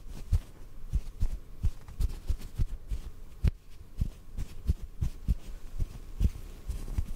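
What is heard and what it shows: Soft fingertips tap on a small, soft white cotton ball held in the fingers. The result is a steady run of muffled, low thumps with almost no brightness and very quick decay, set against a faint low hum.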